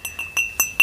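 A small mint or blue glazed ceramic succulent flowerpot is tapped five times. Each tap gives a clear, bright ring around 2.7 kHz with a short decay. The tone is clean, as expected for a sound glazed pot.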